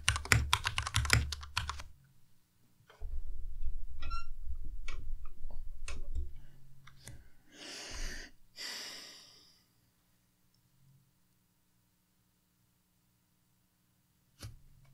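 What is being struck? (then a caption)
Plastic mechanical keyboard keys. Fingertips type on a white compact Ducky Miya Pro mechanical keyboard with plastic keycaps and Cherry MX Red switches, resting on a desk mat. Quick, uneven runs of key presses tap and clack with a low, short thud. Two soft breathy swishes follow, then near silence before one last tap at the end.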